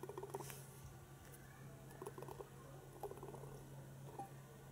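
Long painted fingernails tap a hand-sized hollow plastic penguin egg toy, lit from inside and standing on a carpet. Quick clusters of light, hollow clicking taps come in a few bursts over a steady low hum, each tap dying away fast.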